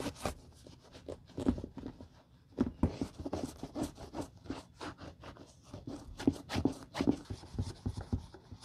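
A gloved hand rubs a damp grey terry cloth over the side and heel of a single, empty dark burgundy patent leather Hermès Chelsea ankle boot with an elastic side panel. The result is a run of short, squeaky rubbing strokes with a soft, low scuffing texture, some strokes louder than others.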